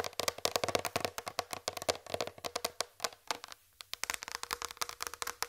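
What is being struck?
Flat plastic tray.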